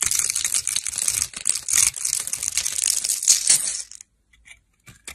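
A metal blade scrapes small cubes off a solid green bar of dry soap that has been scored into a grid and is held in the hand. It makes a dense, bright, crisp crackling and scratching for about four seconds. A few faint ticks follow in near silence.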